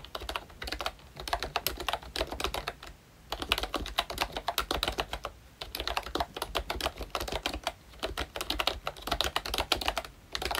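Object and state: Plastic membrane keyboard.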